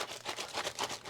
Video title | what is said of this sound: How to ship sealed boxes as a tcg seller (and save tons of money) | notice how it rattles around a lot less. That prevents any breaks, any damage, anything like that.